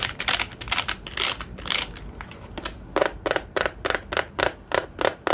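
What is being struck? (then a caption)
Plastic desk calculator. Fingertips press the plastic keys of a large dark grey JOINUS plastic desk calculator, then tap the back of its hollow casing. Quick, bright, dry key clicks come first, followed by a steady series of hollow taps with a faint resonance around 550 Hz. Each sound stops almost instantly.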